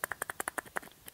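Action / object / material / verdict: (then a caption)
shake / lightweight turntable stabiliser of plastic, wood and damping material / plastic, wood / loose. A lightweight turntable record weight, made of three stacked discs of hard plastic, light wood and damping material that fits over the spindle, is shaken close up so its slightly loose parts rattle. About ten short, dry clicks are heard, bright in the upper midrange with almost no low end and no ring. The slight wobble is normal, and the stabiliser is still robustly built.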